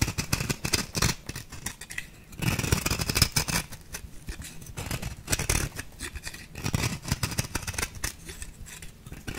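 A small metal blade with a purple handle scrapes an orange-pink compressed-powder bath bomb ball, knocking crumbs off. Quick, gritty, crunchy scraping strokes with a bright hiss run throughout, with a brief lull near two seconds before a louder, denser stretch of scraping.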